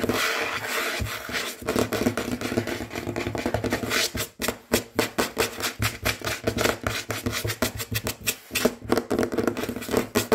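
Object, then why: Wooden tabletop. Fingernails of both hands, medium-length and natural, with rings on the fingers, tap and scratch quickly and hard on a large solid tabletop with a dark wood or wood-look finish. A dense, hissing scratch fills the first four seconds. It then breaks into dozens of rapid, sharp, short-ringing taps that continue to the end.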